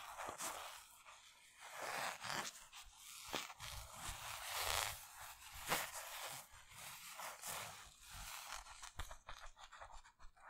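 Fingertips and nails scratch and rub the stitched twill front lettering of a black Bugs basketball jersey made of thin polyester mesh. The result is a steady run of dry, bright scraping and rustling strokes with sharper scratchy accents and very little low end.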